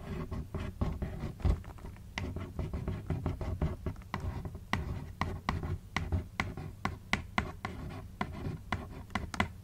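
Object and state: Cardboard shoebox.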